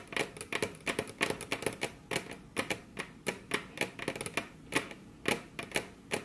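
Very long curved fingernails tap with their tips on a flat, solid, glossy dark-brown wood-grain tabletop, with both hands on the table. A rapid, uneven run of short, sharp clicky taps with a bright, hollow knock around 420 Hz; each tap dies away almost at once.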